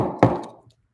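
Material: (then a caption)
Urethane. A hard urethane Mini Logo 101a skateboard wheel is knocked once to show how hard it sounds. The knock is a single sharp, hollow rap with a low tone around 117 Hz. It fades out within about half a second over a faint background.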